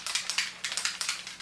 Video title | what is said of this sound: Beauty Products I've Been Loving | you gotta shake it. You hear that? So that's like a little ball in there.